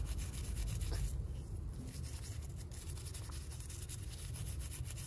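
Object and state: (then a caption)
Glass salt shaker being scrubbed. A small hollow glass salt shaker with a floral print, wet with soapy mud and held in the hand, is scrubbed with a purple toothbrush. Steady, uneven brushing strokes produce a soft rubbing hiss with bright bristle scratches over a heavy low rumble.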